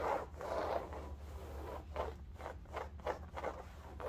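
Long nails scratch and rub a cylindrical bolster pillow in striped woven fabric, held at an angle. The result is a soft, dry, scratchy rasp centered in the midrange, coming in short repeated strokes over a faint low hum.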